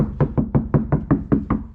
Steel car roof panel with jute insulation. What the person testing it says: it should do a good job deadening the sound